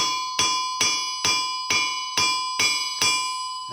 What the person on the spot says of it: you think it's Sunday morning church service time